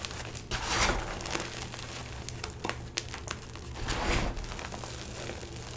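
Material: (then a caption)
Chalk. Bare chalky hands dig into a plastic bin of stale, crushed blue-green dyed gym chalk (magnesium carbonate), ranging from fine powder to small chunks, squeezing and rubbing handfuls so the pieces crumble. The result is soft, gritty crinkling and crunching with bright, crackly bursts over a steady low hum.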